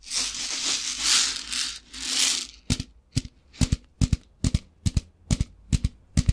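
A translucent plastic tub with a lid, about half full of rice, is held in the hands and shaken, giving a bright, hissing rattle in three swelling bursts. It is then tapped with the fingertips, producing a series of sharp, dry knocks, often in quick pairs, with a low thump under each.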